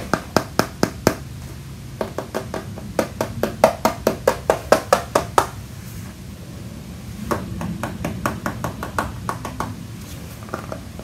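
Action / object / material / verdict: tap / tablet in a rubber and hard plastic protective case / plastic / none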